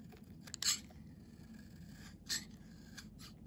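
A metal blade scrapes the face of a solid cream-colored Nefis children's soap bar with string herb, held in the hand, shaving off curled flakes that pile up. Two louder, bright, dry scraping strokes stand out, with fainter scrapes between and after them over a low steady background hum.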